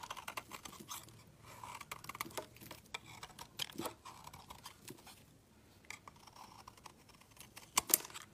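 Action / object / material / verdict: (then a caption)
scrape / bar of soap shaved with a blade / soap / none. The edge of a solid white rectangular soap bar is shaved with a utility knife blade into fine curls, giving quiet, bright, crisp scraping and ticking strokes with almost no low end. A couple of sharper, louder snaps stand out near the end.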